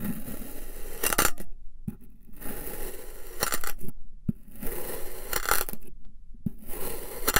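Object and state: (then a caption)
Kinetic sand being sliced. A long black knife slices repeatedly through a solid figure-eight shape of purple and white kinetic sand. Each cut makes a soft, grainy crunch and scrape with sharp clicks, separated by brief near-silent gaps, all at a low, close level.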